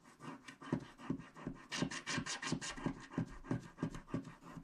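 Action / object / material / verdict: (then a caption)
scrape / coated paper scratch-art card scraped with a wooden stylus / coated paper / none. A wooden stylus scrapes the black coating off a flat, coated paper scratch-art card resting on a cloth surface while the other hand steadies the card. About 12 quick, dense scratching strokes come at a steady, brisk pace, each a short, raspy scrape with a low thump and bright hiss that dies away almost at once. The strokes sound dry and papery, with no ring between them.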